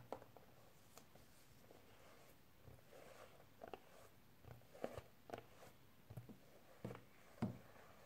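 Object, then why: Small clear plastic storage case. A small, hollow clear plastic storage case with wrapped contents is held upright on a table with both hands and tapped on its sides with fingernails. About ten soft, dull clicking taps come at uneven intervals over a quiet background, each dying away quickly.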